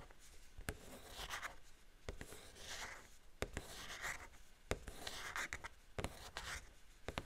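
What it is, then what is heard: Cardboard box with clear plastic window. Long painted fingernails tap and scratch the large clear plastic window and pink and green printed cardboard frame of a hollow Wicked Elphaba doll box, held upright in both hands with the doll inside. Soft, hissing scratches swell and fade between sharp, crisp clicking taps.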